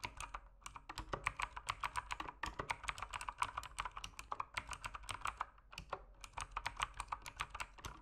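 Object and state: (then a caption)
Plastic mechanical keyboard. Fast fingertip typing on an RGB-lit mechanical keyboard with plastic keycaps produces a dense stream of short, crisp clicks. The clicks carry a bright, clacky tone centered around 1.1 kHz with very quick decay.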